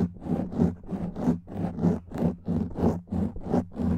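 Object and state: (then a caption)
Foam microphone windscreen being scratched. A black foam microphone windscreen is rubbed and scratched with fingernails, producing eight rough, muffled scratching strokes in a loose, uneven rhythm. The sound is low and bassy with a steady droning tone underneath, and each stroke swells and fades without any ring.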